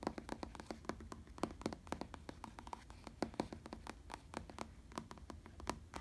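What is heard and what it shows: Fingertips tap and scratch a black faux leather padded bicycle saddle, making a quick run of soft, dull taps mixed with a faint scratching hiss. Each tap dies away almost at once, with a muted low-mid body and only a little high brightness on the sharper hits.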